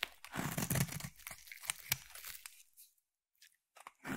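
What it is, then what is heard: Bar soap being shaved with a blade. A palm-sized solid orange bar of soap is shaved with a utility blade in repeated strokes, curling off shavings. Dense crunchy, crinkling scrapes fill the first two and a half seconds, then after a near-silent pause a few short, soft cuts lead back into a fresh burst of scraping at the end.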